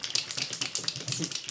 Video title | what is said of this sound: Découvertes et favoris + OOTD - juin 2014 | on entend qu'il y a des billes dedans et donc ça veut dire qu'il faut secouer le produit